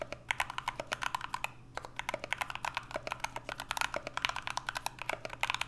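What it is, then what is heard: Mechanical keyboard being typed on. A 65% mechanical keyboard with an aluminum case and PBT keycaps is typed on with the fingertips of two hands, and by the end only one hand is pressing keys. The result is rapid, sharp, bright keystroke clicks with very short decay, with a brief pause near the middle. A steady low hum sits underneath.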